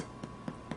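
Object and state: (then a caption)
Hollow-sounding breadsticks, baked through. Gluten-free herbed breadsticks, baked about 18 minutes until brown, are tapped three times as a doneness test. Each tap is a soft, short, hollow knock with low-mid body. The hollow sound means they are done.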